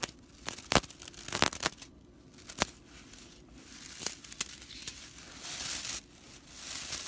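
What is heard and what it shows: Long nails scratch and rake the dry straw bristles of a whisk broom as the broom is turned. The result is a dry, bright rattling crackle with sharp snapping clicks scattered throughout. It gives way to steadier raspy scraping toward the end.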